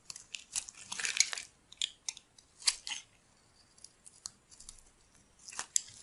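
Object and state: Dry bar soap being shaved.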